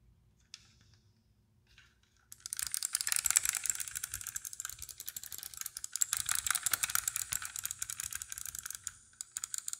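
A small yellow model sports car, a die-cast metal toy with plastic wheels and windows, is held in the hand while long dark-painted nails tap and scratch it and handle its wheels. After a near-silent opening with one faint tick, a dense, fast, irregular stream of bright, dry clicks and scratches starts at about two seconds and continues to the end.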